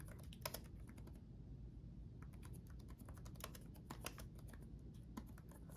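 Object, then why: Plastic laptop keyboard keys. Fingertips of both hands type rapidly on the backlit chiclet keyboard of a black laptop, with plastic keycaps on a solid chassis. Quick, crisp clicks with bright tops, around 20 of them, rattle out unevenly over a steady low rumble. Each tap dies away almost at once.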